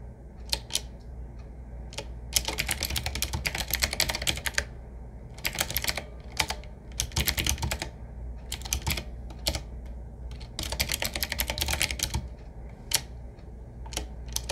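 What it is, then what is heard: Retro mechanical keyboard being typed on. A retro typewriter-style mechanical keyboard, medium size with a hollow case, round black keycaps set in metal rings and a wood-finish frame, is typed on with fingertips, both hands on the keys throughout. Bursts of rapid, bright clacking keystrokes alternate with brief pauses and isolated single taps over a steady low hum.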